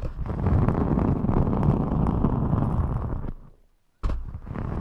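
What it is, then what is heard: Glitter foam sheet scratched. A thin rainbow glitter EVA foam sheet is bent over the microphone while long metallic nails scratch and rub it and the sheet is squeezed and flexed. The result is a dense, low, rumbling crackle with little high content, which fades to near silence after about three seconds. It then starts again abruptly.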